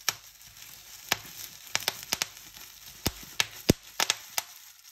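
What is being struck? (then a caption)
Plastic bubble wrap. Fingertips and long nails pinch single bubbles one by one on a clear plastic bubble wrap sheet, giving rapid pops. Thirteen sharp, bright snaps ring out at irregular intervals over a soft, steady crinkling of the plastic.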